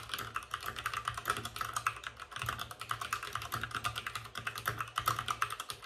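Fingertips of both hands type fast on a white RGB-backlit mechanical keyboard with plastic keycaps and a hollow plastic case. A steady stream of quick, clacky keystrokes with a bright plastic tone centered around 1.3 kHz plays over a faint low hum. Each key strike is short and dry.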